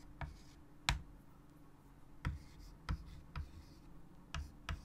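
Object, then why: Chalk on a wood-framed chalkboard. A white chalk stick writes text on a large wood-framed chalkboard resting on a table, making scratching strokes. Seven short, sharp taps and scratches with bright edges sound at uneven intervals over a low, steady hum. Each one dies away almost instantly.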